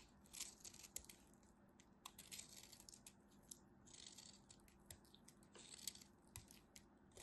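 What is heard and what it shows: A craft knife carves the remaining piece of a solid white soap bar, and chips crumble off. Quiet, bright, crisp scraping and crunching comes in short bursts with sharp little ticks. A faint steady low hum sits underneath.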